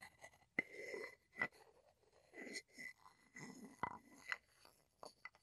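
A small, hollow, light-wood mortar, apparently empty and held in both hands, has its wooden pestle rubbed and ground inside the bowl and tapped across its rim. Quiet, dry scraping and grinding swells in and out, broken by short, sharp wooden taps that ring with a thin, bright tone and die away almost at once.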